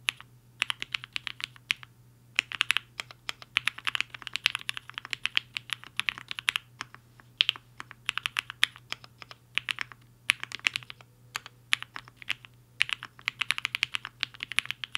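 A compact mechanical keyboard with a black case and white and pink plastic keycaps sits on a desk mat while the fingertips of both hands type fast on the keys. Quick, bright, clicky keystrokes come in rapid bursts with short pauses between them, each one dry and clipped with almost no ring. A faint steady low hum runs underneath.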